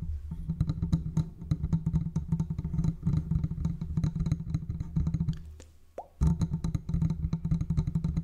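Fingertips of both hands tap and rub the hollow metal body and mesh grille of a large silver metal condenser microphone on a stand. A dense stream of quick, dull, low thumps centers around a low pitch and dies away almost instantly. The tapping pauses briefly near the six-second mark, where a short faint tone rises, then resumes just as busily.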